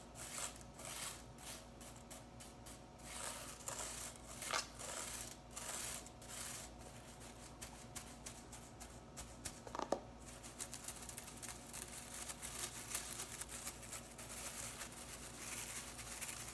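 Long nails scratch and pinch the blue plastic bristles of a broom head with a white plastic back. The result is a steady run of dry, bright crackling and rustling scratches over a faint low hum, with a few sharper snaps standing out.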